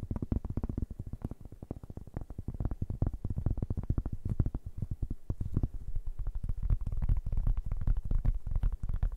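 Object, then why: Round cork board. A large, round, flat, thin solid cork board, held in both hands in front of two microphones, is tapped and scratched with fingertips and nails. The result is a dense, irregular stream of quick, soft, muffled taps with a deep, dull thump, each dying away almost instantly with faint scratchy texture between them.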